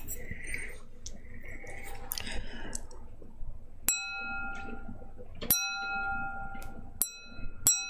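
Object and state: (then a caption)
Old wine glass ringing like a bell. An old wine glass, the final piece, is handled with soft rustling and then tapped four times. Each tap gives a bright, sustained ring with clear overtones, sounding almost like a train bell.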